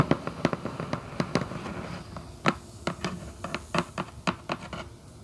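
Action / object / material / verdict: tap / cardboard shoebox lid tapped with nails / cardboard / none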